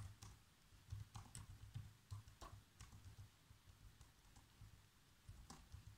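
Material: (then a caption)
Plastic. Fingertips type on the black plastic keys of a laptop keyboard, typing out a movie script. Soft, uneven clicks and taps come in quick bursts over a steady low hum, each key hit dying away almost at once.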